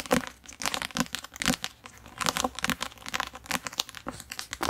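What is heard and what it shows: Fingertips tap and scratch the glossy card cover of a thick, solid paper paperback book, then turn the book to its spine side. Dry, crisp taps and scratchy crinkling rustles come in quick bursts with bright, airy high-end texture and almost no low end. Each sound stops short with no ring.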